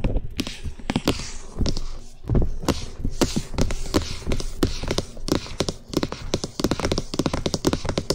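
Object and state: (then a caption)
Plastic microphone housing. Fingertips and nails rapidly tap and knock on the top and sides of a hollow cream plastic SR3D binaural microphone housing mounted on a stand. The result is a fast, dense run of short, dry, hollow thumps, mostly low with a faint bright click on each hit and almost no ring.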